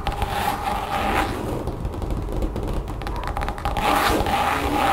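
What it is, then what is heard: Textured rubber mat. Long painted nails of both hands scratch and tap quickly over the surface of a large, thin, solid brown textured mat, apparently rubber or vinyl, lying flat over a table. The result is a dense, steady stream of dry scratches and rapid soft taps with a faint hum underneath, growing slightly brighter and louder toward the end.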